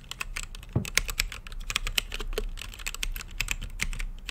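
Fingertips type on a mechanical keyboard with plastic keycaps and a clear acrylic case, producing a steady run of short, crisp clicks and clacks. Each keystroke has a bright, sharp top over a low thump, dying away almost instantly, with an occasional deeper, louder key press.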